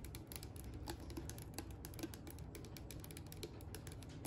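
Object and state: Plastic tub tapped and scratched.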